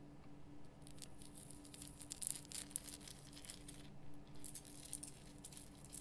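Long painted nails scratch across the rough surface of a large, solid, lit pink Himalayan rock-salt lamp. The result is quiet, irregular bursts of bright, gritty crackling and scraping over a steady low hum.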